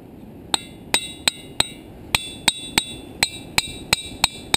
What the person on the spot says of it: here's one that has quite a peculiar sound